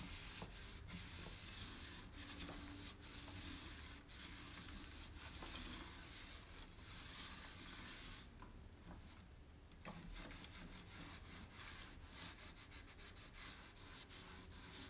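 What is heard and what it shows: A cloth rubs around the inner wall and rim of an empty, round, shallow white-painted wooden tray while the other hand holds it steady. The result is a steady, soft scrubbing hiss with a bright, airy texture over a low rumble, easing briefly into a quieter stretch before the rubbing picks back up.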